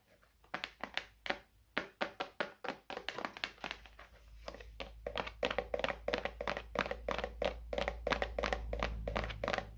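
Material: Plastic.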